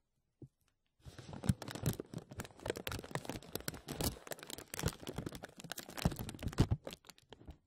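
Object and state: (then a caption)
Crinkling clear plastic bag. A thin, clear plastic film bag stretched over a microphone grille is rubbed and pressed by fingertips and nails. After one brief tick, a dense run of close, crackling crinkles starts at about one second and continues to the end, full and low-heavy with quick snapping peaks.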